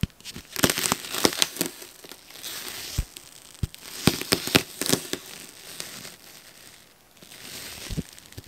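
A gloved hand scratches and digs the metal tines of a fork into the surface of a large frozen yellow foam sponge resting on a wooden board. Dry, bright crunching and crinkling scrapes alternate with sharp crackling snaps, each dying away almost instantly, with quieter hissing rasps in between.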